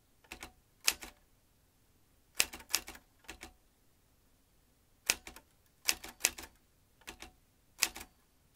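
Fingertips type on the round keys of a vintage metal manual typewriter, producing bursts of sharp, bright mechanical clacks with almost no low end. The strikes come in quick clusters separated by short pauses, each click dying away almost instantly.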